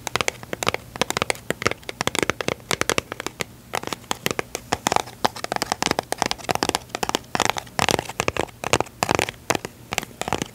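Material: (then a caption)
Cardboard. Long nails scratch and tap rapidly on a small, closed, yellow printed cardboard box of staples that seems full. The result is a dense run of sharp, dry clicks and crackly scratches with almost no ring or low end.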